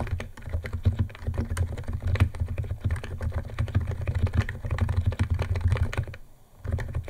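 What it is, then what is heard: Plastic keyboard, fast typing. Fingertips of both hands type fast on a white compact 68-key Niz ATOM 68 keyboard with electro-capacitive switches, white plastic keycaps and a plastic case, resting on a wooden desk. A dense stream of short, deep, muted keystroke clacks with a low hum-like body plays steadily, then briefly drops out just after six seconds before the typing resumes.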